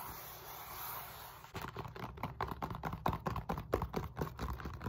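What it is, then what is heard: Foam roller, polyethylene foam. A large black-grey textured foam roller, a solid cylinder of molded polyethylene foam, is held upright while long nails and fingertips scratch and rub its bumpy side and end face. After about a second and a half of faint hiss, a quick, uneven run of dry, scratchy strokes and soft taps begins. The strokes are mostly low and muffled and die away at once.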